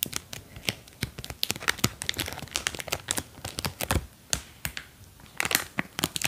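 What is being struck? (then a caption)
Thin plastic film bag. Long dark painted nails press and crinkle a small clear plastic film bag with a white label, held in one hand, with two green silicone ears inside. A rapid, irregular series of sharp, bright crackles and crinkles is heard, each snapping off almost instantly over a faint background hiss. The silicone contents may add a soft squish beneath the crackling.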